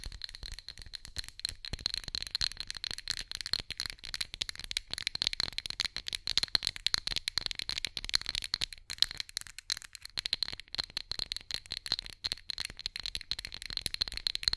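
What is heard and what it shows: An orange glass pumpkin candle holder with a lit candle inside is held in both hands near the mic while long nails tap the glass rapidly. The result is a dense, continuous stream of tiny, dry clicks with a bright, high ringing tone and almost no low end. Each tap dies away instantly, so the taps blur into a rattle-like patter.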